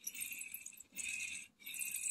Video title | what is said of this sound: On déballe du Hot Wheels, Matchbox et autres. | pas certain que ça va être une voiture qui va extrêmement bien rouler. On l'entend.